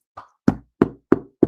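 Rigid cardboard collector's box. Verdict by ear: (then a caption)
Sturdy. Knuckles knock five times on a rigid one-piece collector's box with a magnetic flap, testing how sturdy it is. Each knock is a short, dull, hollow thud centered in the low mids, with the first one softer than the rest. The box holds firm and does not cave in, so it is sturdy.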